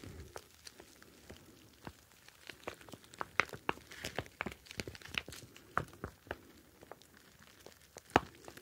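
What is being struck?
Plastic pouch of gel beads.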